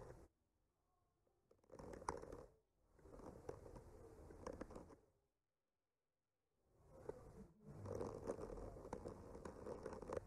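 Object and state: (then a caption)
Painted wooden panel scraped with a skewer. The tip of a bamboo skewer slowly traces and scratches across a solid wood panel painted with trees. Soft, grainy scratching comes in several quiet bursts of a second or more, with a gritty midrange rasp and faint bright edges. Near-silent pauses fall between the strokes.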